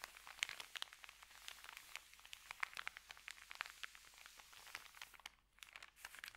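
Hands rub an empty white paper sandwich bag, then fold it and lift it over, crinkling the paper. A dense run of sharp, bright crackles and rustles centred around 2 kHz carries almost no low end and has a brief lull near the end before the crinkling resumes.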